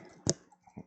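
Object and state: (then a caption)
Empty hollow chocolate egg. A large foil-wrapped hollow chocolate Easter egg is shaken to check whether anything is inside. It makes one sharp, bright, crinkly click followed by a few faint soft knocks, with no rattle, so it doesn't seem to contain anything.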